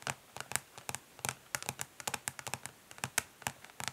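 Long fingernails on both hands tap quickly across the underside of a flat plastic eyeshadow palette, a hollow case of dark translucent ridged plastic. About twenty short, bright clicks come in uneven bursts, each dying away almost instantly, with a faint light scratch between taps and very little low end.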